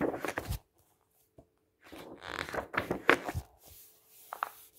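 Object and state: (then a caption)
Paper brochure pages being handled. Fingertips slide and rub across the pages of a thick printed paper brochure with a green edge lying on a table, turning them over. Bursts of dry papery rustling and scraping alternate with soft low thumps as the pages flip and settle. Short quiet gaps fall between the movements.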